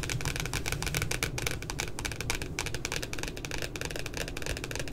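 Long glittery nails rapidly tap and scratch the glossy cardboard cover of a spiral notebook with a puppy design. Dense, bright clicks and scraping run steadily throughout, with a constant low rumble underneath.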